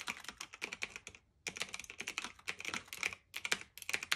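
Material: Plastic, metal.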